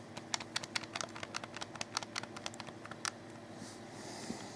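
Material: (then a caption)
Plastic. Fingertips press and click the buttons of a black plastic, hollow, wired Xbox 360 controller. About twenty quick, sharp, bright clicks come in an uneven run over the first three seconds, each dying away almost instantly. They give way to a soft, faint hiss near the end.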